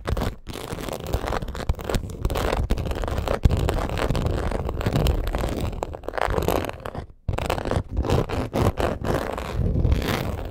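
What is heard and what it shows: Long acrylic nails scratch quickly across the scaled surface of a black crocodile-embossed leather purse. The result is a dense, steady stream of rough scraping and crackling, weighted toward the low end. It breaks off briefly near the start and again around seven seconds.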